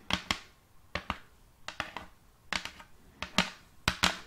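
Long painted acrylic nails tap a large, thin, solid round wooden serving plate held upright in one hand. About 13 sharp, bright clicks fall mostly in quick pairs at an uneven pace. Each has a short hollow, low woody tone that dies away almost at once.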